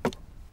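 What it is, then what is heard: Hollow termite-damaged wooden railway sleeper. A termite-damaged wooden railway sleeper on the Richelieu–Chinon line is knocked twice, giving two quick, dull, hollow knocks with a low-mid body and a brief bright tick that fade almost at once. The hollow sound shows nothing is left inside and nothing holds, as termites and poor maintenance have left the track unusable.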